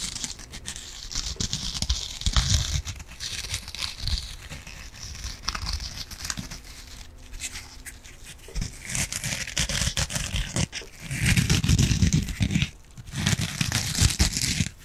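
A yellow foam kitchen sponge with a green scouring pad is scratched with long nails and rubbed with the fingers. It makes dense, irregular crinkly scratching with bright hiss, mixed with heavier low rubbing bursts that swell and fade throughout.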